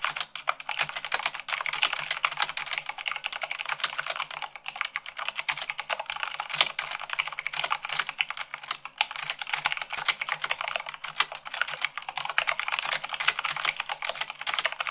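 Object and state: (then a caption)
Plastic mechanical keyboard. Fast typing with fingertips and long nails on white plastic keycaps of a black plastic mechanical keyboard. A dense, continuous stream of sharp, bright clicks and clacks with almost no low end, each keystroke decaying almost instantly.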